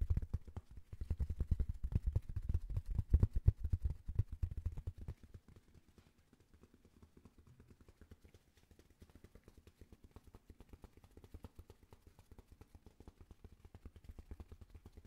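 A thin white paper sheet or card is held up near the microphone and tapped quickly with fingertips and nails. The result is a fast, uneven stream of soft, dull, low taps with almost no ring. The taps are louder for the first five seconds, then quieter for the rest.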